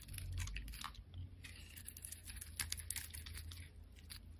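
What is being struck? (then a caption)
Glycerin soap bar scraped with a blade. A solid, rectangular amber translucent glycerin soap bar is held in the hand and scored and scraped with a black utility blade. Quick, crisp scraping and crunchy clicking strokes follow one another with bright edges over a steady low rumble.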